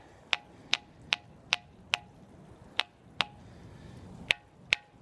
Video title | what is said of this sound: TDW 1290 - The Bell Rock : Stone Actually Rings | That's probably the loudest one. Listen how loud that is.